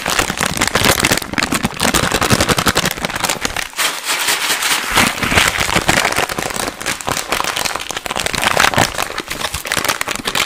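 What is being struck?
Plastic snack bag.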